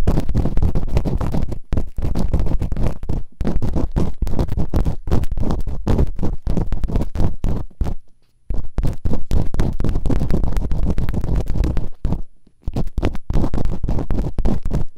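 Bamboo earpicks, held in fingertips with long nails, quickly scratch and rub inside the open canals of both solid, rubbery silicone ear models on a white binaural microphone. The result is a dense, muffled stream of rapid low scratching and rumbling thuds, almost entirely deep with no bright edge. It runs steadily, with brief quiet gaps near 8 and 12.5 seconds.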